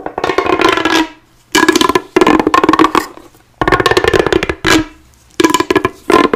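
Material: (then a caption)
Plastic. Long blue-painted nails run along the ribs of a single hollow, forearm-length, bright pink corrugated plastic pop tube held in both hands as it is bent, stretched and twisted. Quick runs of dry scratching and rapid popping clicks from the ridges come in several bursts with short pauses between them. The clicks carry a hollow, mid-pitched ring around 1 kHz.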